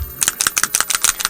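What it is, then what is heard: Paint bottle with a rattling ball-bearing agitator. A small plastic squeeze bottle of orangey-brown paint wash is shaken, and the steel ball bearing inside, acting as an agitator, rattles against the walls in quick, bright, sharp clicks that come in rapid pairs. The shaking remixes the separated wash into an even brown.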